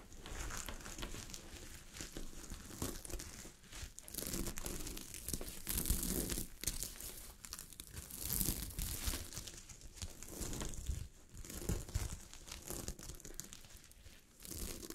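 A sheet of fabric covered with small gold sequins is scratched by long glittery fingernails, producing dense, continuous crinkling and rustling with bright, glittery highs over a soft low rumble. The scratching moves in alternating fast and slow passes, swelling and easing in loudness throughout the clip.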